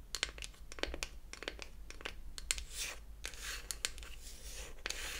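Long acrylic nails tap and scratch the flat surface of a small, closed beech-wood toy eyeshadow palette. Quick, sharp clicks are scattered among softer, bright scratching strokes, all at a quiet level with a low background hum.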